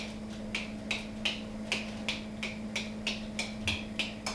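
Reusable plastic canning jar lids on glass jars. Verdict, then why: Sealed. Twelve reusable plastic lids on sealed pint canning jars are tapped one after another, each giving a short, bright, high click that rings briefly over a steady low hum. All twelve seals sound good and are still intact seven months in.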